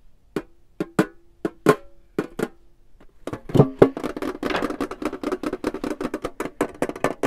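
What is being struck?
Small wooden box.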